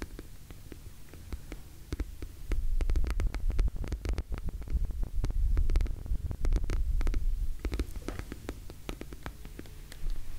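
An orange glossy PVC cosmetic pouch, hollow and held close to the mic, is tapped and scratched by long nails and fingertips. Rapid, uneven clicky taps ride over a deep low throbbing hum, growing louder through the middle and easing off toward the end.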